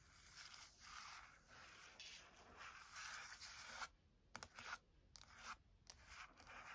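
Long nails scratch and trace across the cover illustration of a Taschen Chagall paperback art book with a glossy paper cover. A steady, hissy scraping rub runs for about four seconds, then breaks into short, sharp scratches separated by brief pauses.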